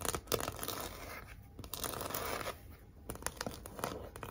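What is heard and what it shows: Long acrylic nails scratch and tap across a large, flat, pink heart-shaped cardboard sign, thin and rigid, with raised red glitter "Be Mine" lettering. Dry, papery scratching and rasping drags are broken up by sharp, short taps.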